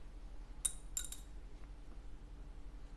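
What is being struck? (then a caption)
Plastic guitar bridge saddle. A stock Yamaha F310 guitar bridge saddle is dropped again in a second round of drops, landing with three short, bright clicks that bounce and settle within about half a second. Each click rings with high, glassy tones that die away almost at once, over a steady low hum.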